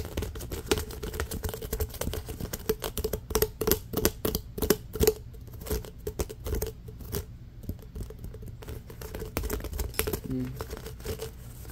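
Fingernails scratch fast across the ridges of a hollow, pink, ribbed corrugated plastic pop tube held on a fabric blanket. Dense, rapid clicking and rasping taps run throughout, with a faint steady tone around 414 Hz. The sound is mostly low and dull with little brightness.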